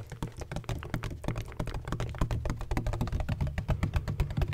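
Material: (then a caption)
Plastic. Fingertips tap rapidly on a large black, hollow, donut-shaped plastic bottle with a textured surface and a red cap. The result is a fast, steady stream of short, dull, hollow thuds, mostly low in pitch with very little brightness, each dying away almost instantly.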